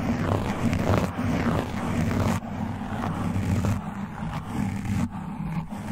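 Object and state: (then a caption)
Foam microphone windscreen being scratched. Fingertips with long nails and metal claw rings scratch the top and sides of a black foam windscreen on a condenser mic. The result is a dense, muffled scratching and rubbing that stays mostly in the low range, with soft swells and brief drops between strokes and little high-end brightness.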